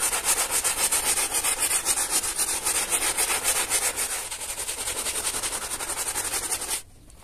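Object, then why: Wet textile carpet scrubbed with a hand brush. A small teal hand brush scrubs a soaked, soap-foamed flat pile carpet lying on a plastic sheet, moving in circles and strokes. It makes rhythmic, bright, wet swishing at roughly three to four strokes per second, steady throughout, until the scrubbing stops abruptly near the end, leaving near silence.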